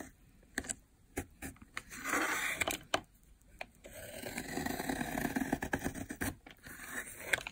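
A metal utility blade scrapes along a long, solid, blue dry soap bar lying on a white surface, peeling off cracked, layered flakes. Dry, crunchy scraping strokes alternate with short, sharp, bright clicks and snaps at an irregular pace. Quiet pauses fall between the strokes.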